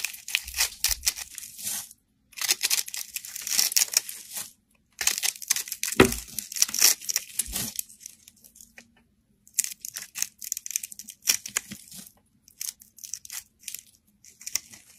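A small, solid, round yellow bar of soap with a hole through it is held in the fingers while a metal blade shaves it in a spiral. Crisp, bright scraping and crinkling bursts come in several runs separated by short pauses, with an occasional soft low thump.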